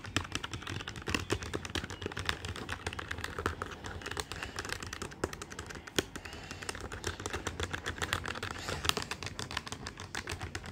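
Fingertips of both hands rapidly tap the plastic keys of a black plastic desktop calculator with a hollow body. The result is a steady stream of short, dry, clicky taps with a bright edge and almost no ring, over a faint low hum.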